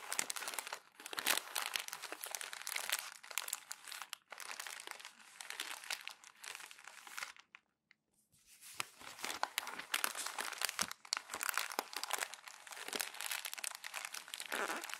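Glossy magazine pages are rolled and crumpled into a bundle by bare hands, rubbed and squeezed together. Dense, bright crinkling and crackling fills the clip, with a brief silent pause near the middle before the crumpling resumes just as busily.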